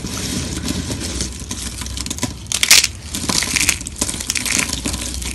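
A pile of thin, brittle, dry pink soap sheets resting on marble is pressed and crushed between the fingers and palms of both hands. A dense stream of bright, crisp crunching and crackling builds to its loudest burst a little past the halfway point, then carries on at a steady level.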